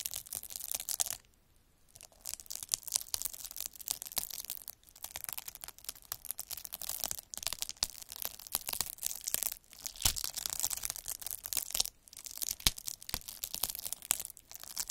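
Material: Plastic.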